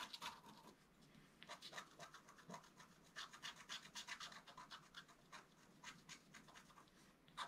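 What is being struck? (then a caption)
Black-coated scratch art card scraped with a wooden stylus. A wooden stylus scratches the coating along the bottom edge of a flat scratch art card made of black coated paper. Quick, irregular scratchy strokes, about four per second, come in bright, dry rasps with short pauses between bursts. The sound is quiet overall.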